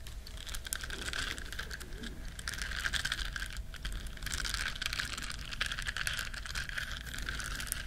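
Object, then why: Small silicone bristle scrubber. Long nails scratch the bristles of a small, flat, solid yellow silicone duck-shaped scrubber, making a dense, continuous run of quick, crisp scratchy ticks. The sound is bright with a steady tonal band around 1.5 kHz, set over a low, constant rumble, and swells slightly louder in the second half.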